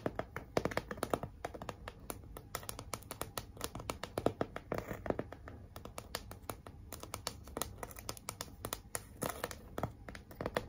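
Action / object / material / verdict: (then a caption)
tap / glitter-covered cardboard sign / cardboard / none. Long acrylic nails rapidly tap and scratch a large, flat, pink cardboard "Be Mine" heart sign and its glitter letters. The result is a dense stream of short, dry clicks with scratchy rustling between them, each tap dying away almost instantly.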